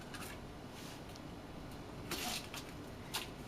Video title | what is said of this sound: Tuile au sésame | se décolle tout seul comme vous entendez